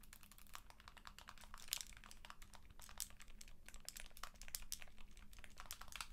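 Long nails tap and scratch the flat plastic back and side grips of a white and blue handheld game console in a plastic protective case. Rapid, crisp, bright clicks and scrapes come in a dense, uneven stream over a faint steady low hum.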